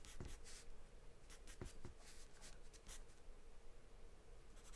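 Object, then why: Graphite pencil on paper sheet. A graphite or charcoal pencil held in the hand scribbles and scratches across a large white paper sheet taped flat to a dark surface, shading in quick strokes. Soft, dry scratching bursts come and go over a steady low hum, each stroke brushing bright and airy across the paper.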